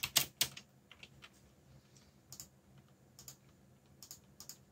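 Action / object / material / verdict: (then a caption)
tap / plastic mechanical keyboard keycaps / plastic / none. Fingertips type on a backlit mechanical keyboard with plastic keycaps, opening with a quick burst of loud, bright clacks. Softer, sparser key taps follow in small clusters, each click short and sharp with almost no ring, over a faint low hum.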